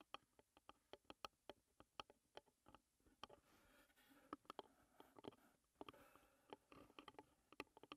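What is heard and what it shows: Long red nails, with rings on the fingers, tap and drum on the white-painted lid of a closed, hollow, rectangular wooden tea box with floral printed sides. Quick, dry clicks ring around 300 Hz with a bright edge and die away almost at once, spaced apart at first. In the middle they run together into a soft, continuous rustling patter before separating again.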